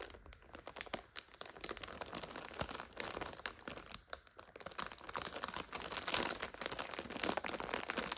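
A full instant noodle multipack in a plastic overwrap is scratched and crinkled with long nails. Dense, bright crackling and scratchy rustling run continuously with little low end, swelling and easing in quick bursts throughout.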